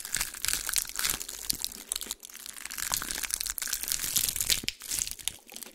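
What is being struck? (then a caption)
Pine cone. A small, dry, brown pine cone held in one hand is squeezed and crushed by fingers with long pink nails, while the other hand rests empty on a white towel. Dense, dry crunching and crackling fill the clip, bright and sharp with almost no low end. The snaps come in quick, overlapping bursts with brief dips between them.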